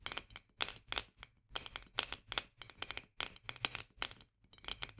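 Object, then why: Glass jar with metal screw lid. Long nails tap and scratch quickly around the metal lid rim of a medium-sized, full glass jar of mandarin marmalade held upright in both hands. The result is rapid clusters of short, bright clicks and scrapes with almost no ring, centered around 3.1 kHz, separated by brief pauses.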